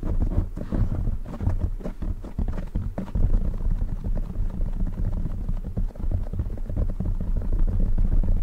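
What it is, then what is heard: Foam microphone windscreen. Fingertips tap and scratch the sides of a black foam windscreen fitted over a silver microphone. The result is a steady stream of deep, muffled thumps and soft rustling, with almost all the energy in the low end and nothing bright on top.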